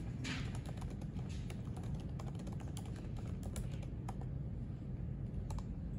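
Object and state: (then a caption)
Laptop keyboard typing. Both hands type with their fingertips on the plastic keys of a silver aluminium MacBook resting on a white library desk. Light, bright key clicks patter continuously over a steady low hum.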